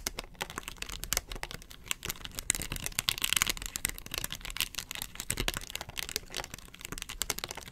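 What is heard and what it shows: Long nails scratch across the ridged face of a round, hollow yellow plastic lid, making a rapid run of dry, bright scratching clicks and rasps. The strokes crowd together at a steady pace, with a louder, denser stretch in the middle, and each one stops short with almost no ring.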